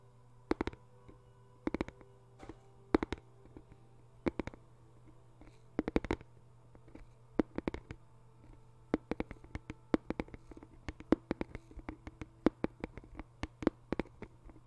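A small white rectangular cardboard box, likely hollow, is held flat in both hands and tapped rapidly on its top surface with the fingertips and nails. The taps are short, dry clicks that die away almost instantly, coming in quick uneven bursts over a quiet, steady low hum.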